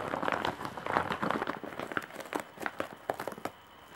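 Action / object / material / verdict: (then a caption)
scrape / woven straw bag / straw / none. Long nails scratch across the surface of a large woven straw/jute bag with embroidery and metal rings for handles. The result is a quiet, dry, crackling rasp made of many short scratchy strokes, busier in the first half and sparser with brief bright ticks toward the end before fading to near silence.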